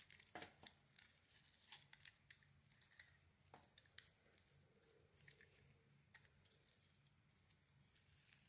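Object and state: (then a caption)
Glitter-coated bar soap being scraped. A metal blade scrapes and carves the gold glitter coating off a solid rectangular white bar of soap held in a hand with long red nails. The sound is a quiet, bright, crinkly scraping broken by many short, sharp ticks and flicks, with only a faint low hum underneath.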